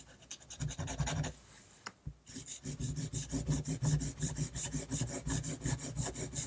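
A technical pen nib rapidly scratches dense hatching lines across a flat sheet of drawing paper, producing a rasping sound. Quick, roughly rhythmic strokes, each with a bright scratchy edge over a low body, run for about a second, pause briefly with a single tick, then resume in a steady, slightly louder run to the end.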